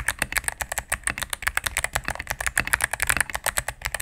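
A cream full-size mechanical keyboard with plastic keycaps on a solid plastic case is typed on rapidly with fingertips and medium nails. The result is a fast, steady run of short, crisp clicks and clacks, bright around 1.8 kHz with very little low end and almost no ring after each press.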